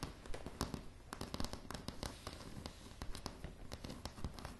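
Long polished nails of both hands tap on a light, solid wooden plank floor. The clip is a rapid, irregular patter of short, dry clicks with low thuds underneath, each dying away almost at once.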